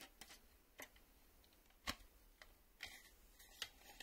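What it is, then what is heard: Plastic VHS cassette tapped. Fingernails tap the edge of a black plastic VHS cassette, then its ribbed side with the reel windows. The result is sparse, irregular, bright clicks that stop dead, with a faint scratchy rustle between them.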